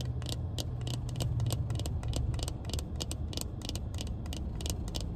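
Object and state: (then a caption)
Plastic-framed sunglasses. Sunglasses with a black plastic frame and tinted lenses, held in the hand, are tapped and scratched with long painted nails inside a car. Quick, bright plastic clicks and scratches come in irregular bursts over a steady low rumble.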